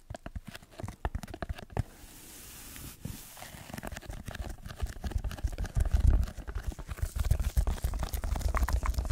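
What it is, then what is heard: Foam sheet scratched. Fingertips scratch a red layered foam block held above and in front of the microphone. The result is a rapid, irregular run of soft scratchy crackles with a heavy, muffled low-end rumble, a brief airy hiss near the start, and scratching that grows denser and louder toward the end.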